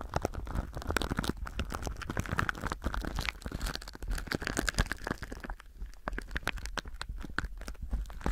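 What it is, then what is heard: Plastic film wrap crinkling. Fingertips rub and press thin, clear plastic film stretched over a binaural microphone, producing a dense run of sharp crinkles and crackles. The crinkles sit over a heavy, close, low rumble, with bright snaps throughout. The activity eases briefly around the middle before picking back up.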